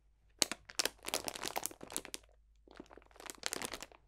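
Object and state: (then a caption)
Cellophane bag of dried potpourri. A clear cellophane bag full of dried potpourri botanicals is crunched with the fingertips, giving dense, bright crinkling and crackling with sharp snaps. The sound comes in two bursts separated by a short pause. There is almost no low end.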